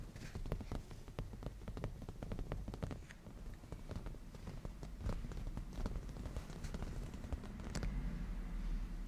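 Fingernails painted black tap rapidly across a padded black cushion of grained leather, using both hands. The result is a steady flurry of soft, dull, low taps with brief bright clicks and almost no ring, gaining a slightly fuller low thump near the end.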